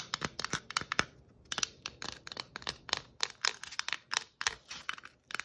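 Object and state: Plastic Christmas ornament ball.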